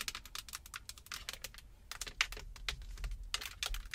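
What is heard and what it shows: Long acrylic nails and fingertips tap and scratch the solid rim of a parked Jeep's steering wheel, which is wrapped in black leather or synthetic. The result is a rapid, uneven run of short, bright, clicky taps with dry scratching between them, over a faint low rumble.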